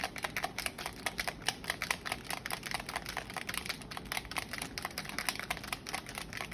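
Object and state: Airbrush paint bottle with a mixing bearing inside.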